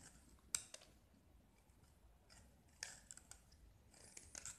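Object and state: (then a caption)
Gypsum block being carved. A metal utility-knife blade carves into a small solid gypsum block with an orange painted surface, scraping through to the white plaster as chips and powder fall. Quiet, bright, crisp scrapes and short clicks come in scattered bursts over a near-silent background.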